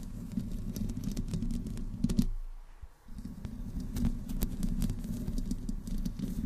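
Long fingernails on both hands slowly scratch the top of the hollow metal mesh grille of a black desktop microphone. The sound is a dense, boomy scraping rumble dotted with crisp ticks. It drops to near silence for a moment partway through, then resumes.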